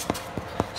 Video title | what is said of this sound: Sourdough bread recipe for beginners | Sounds pretty hollow, which is what you're looking for.